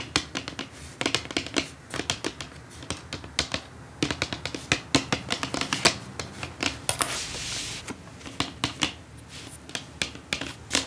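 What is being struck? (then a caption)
Cardboard gift box. Long acrylic nails tap rapidly on the lid of a brown printed cardboard perfume gift box lying flat. The result is dozens of sharp, bright clicks with almost no ring, and a softer scratchy, hissing stretch midway through.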